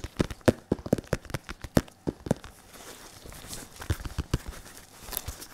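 Latex-gloved fingertips of both hands tap on a padded, foam-filled RDX boxing focus mitt made of red, white and black synthetic leather. A quick run of short, dull, low thuds comes first, then the tapping turns softer and lighter with faint crinkly rustling, ending in a few more soft taps.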